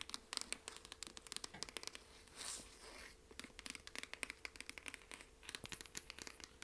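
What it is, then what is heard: Cloth-covered hardcover book. Long nails tap and scratch the hard cloth cover of a solid, medium dark blue hardcover book, *Alcoholics Anonymous*, held upright in a hand. Dozens of quick, dry, bright clicks patter quietly throughout, with a short, breathy scratching swell in the middle before the tapping resumes.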